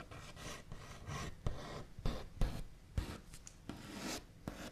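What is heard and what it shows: Fingernail backs scratch and tap rapidly across a wooden tabletop, making a dry, rasping wooden texture. Bursts of scraping alternate with sharper taps, with about ten distinct knocks that stand out and decay almost instantly.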